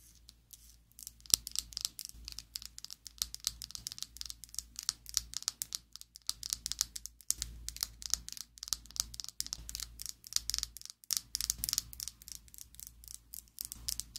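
Long acrylic nails tap and scratch a slim pink plastic Essence liquid lipstick tube held above a table. The result is a dense, steady stream of quick, bright, dry clicks and brief scratchy rasps with almost no ring. A faint low hum runs underneath throughout.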